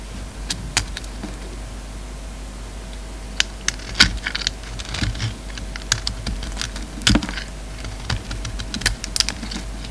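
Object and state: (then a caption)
Bar of soap being shaved. A solid black bar of soap with a red rim is held in the hand and shaved with a utility knife, sending off flakes. Quick, crisp scraping clicks with a bright edge sound in irregular bursts, each dying away almost at once, over a steady low background hum.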